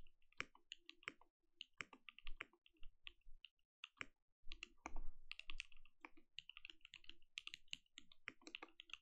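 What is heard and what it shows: Continuous two-handed fingertip typing on a compact mechanical keyboard with plastic keycaps and a lit translucent case. Rapid, short clacking keystrokes come in uneven bursts with brief pauses, each one a quick bright click over a soft low thud.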